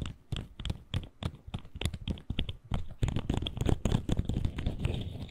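A colorful articulated plastic fidget slug is compressed and twisted between fingertips, its segments clicking and rubbing against each other. Rapid, irregular short clicks with soft scraping come at first with quiet gaps, then grow louder and denser in the second half. The sound is mostly low and dull, with faint bright ticks.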